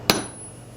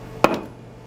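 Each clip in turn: First: A single hammer strike on jade gives a bright, metallic ping, with a thin high tone that lingers like an anvil. Second: A hammer blow on ordinary rock gives a short dull thud with no ring, nothing like jade.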